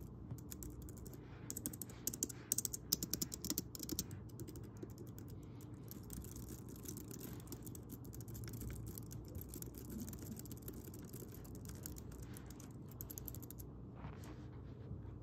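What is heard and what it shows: Fingertips type steadily on the round keys of a pink plastic Logi wireless keyboard, producing soft, rapid, bright clicks with a slight creak or mechanism noise. A low, steady hum sits underneath throughout, and the typing stops near the end as the hands move away.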